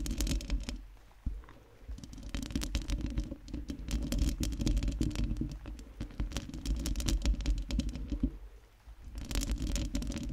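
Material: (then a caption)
Metal mesh. Long nails on both hands scratch the round metal mesh grille of a microphone. Dense, rapid scratching and tapping build a continuous crackling texture over a deep, bassy rumble, with brief pauses around the second and ninth seconds.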